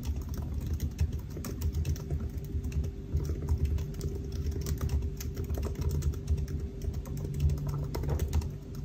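Fingertips of both hands type rapidly on the black plastic keys of a silver aluminium laptop's built-in keyboard. The result is a dense, continuous stream of short, soft key clicks that die away almost at once, over a steady low hum and a faint constant tone.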